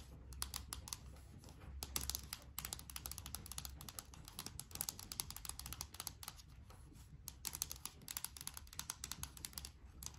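A small yellow plastic Play-Doh tub, likely full, is held in both hands and turned while long nails tap and scratch its surface. Quick, bright, clicky taps and scratches run continuously over a soft low background rumble.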